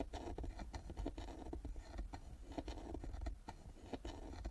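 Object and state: Carved wooden box with metal plaque.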